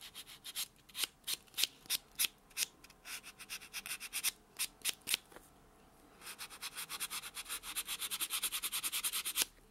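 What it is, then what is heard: Fingernail buffed with a foam buffer block. A white solid foam nail buffer block is rubbed back and forth across natural fingernails, making quiet, bright, scratchy swishes with no low end. The strokes come in uneven bursts, pause briefly, then resume as a quicker, steadier run of short rubbing passes.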